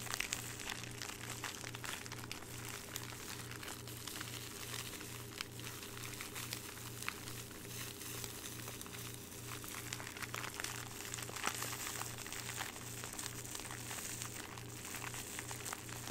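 Fingertips squeeze and crinkle a thin, hollow, clear plastic zip bag holding a small piece of jewelry, held close to the microphone. A dense, continuous bright crackling runs throughout, over a steady low pulsing hum.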